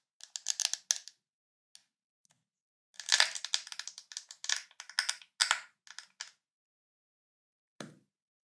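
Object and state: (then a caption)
Plastic jar lid. Fingernails scratch along the ridged side of a white ridged plastic screw lid on a full Nutella jar, making quick bursts of dry, bright, rasping clicks. A short cluster comes first, then after a pause a longer run of scratches, and a final brief scrape near the end, with almost no low-end and the sound cutting off instantly after each stroke.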